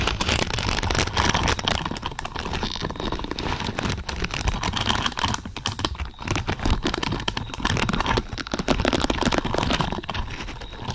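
Long purple nails on both hands scratch and rake across a large lavender pad covered in thin, flexible plastic or silicone pins. The result is a steady, dense flurry of quick ticking and scratchy rustling that runs without pause, with a full low rumble under it and a bright crackly edge.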